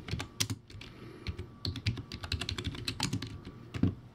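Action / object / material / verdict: tap / plastic keyboard with round keycaps / plastic / none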